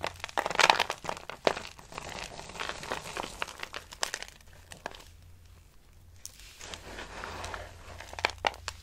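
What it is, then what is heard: Dry soap shavings. Dry pale green soap flakes are crushed in hands with long nails and crumbled onto a pile. Dense, crisp crinkling and crunching pops in quick bursts, brightest in the first second and returning near the end after a quieter stretch, over a faint steady low hum.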